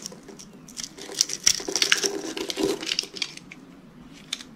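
A utility knife scrapes and cuts cubes off a solid, hand-sized rectangular pink bar of dry soap held in one hand, its surface scored into cubes. The result is a rapid, irregular series of dry, crisp crackles and scratchy snaps, bright and high with little low end. The sounds swell in the middle before thinning out with a final sharp crack near the end.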